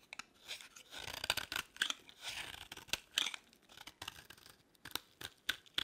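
A utility-knife blade shaves a solid, partly carved beige bar of dry soap into crumbly flakes. Dry, bright scraping and crunching comes in quick bursts with sharp crackles and almost no low end.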